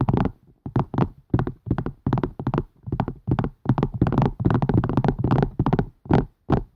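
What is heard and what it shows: Fingers tap quickly on a plastic and silicone strainer, making fast, uneven bursts of soft, low, hollow taps that fade out quickly. Many taps run together into short clusters with brief gaps between them.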